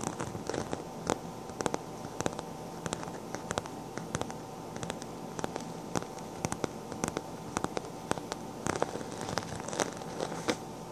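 Long black-painted nails scratch and tap the swirl-patterned side of a cream embossed faux leather handbag, close up. Many sharp, dry ticks and clicks ring out over a soft, steady crackling scratch, each tap dying away almost at once.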